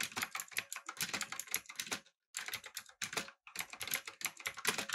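Fingertips type on a backlit, typewriter-style mechanical keyboard with round plastic keycaps. Quick, bright clicks and clacks run in dense bursts, with short pauses near the two-second and three-and-a-half-second marks.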